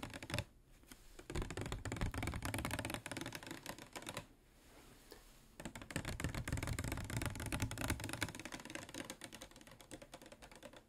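A clear, medium-size, hollow PET plastic water bottle with a white cap, which appears to contain water, is held up and tapped with fingernails along its ridged sides. Quick, uneven clicking taps with a dull low thump run throughout, pausing briefly near the start and again in the middle before resuming.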